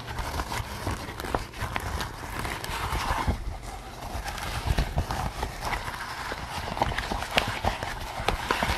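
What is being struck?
Latex rubber mask.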